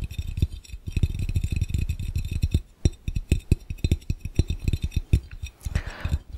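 Fingertips of both hands tap rapidly on a clear, round, empty glass fishbowl. The taps are short, dull thumps with a deep hollow resonance and a faint bright glassy ring, coming in uneven bursts. A brief soft hiss rises just before the end.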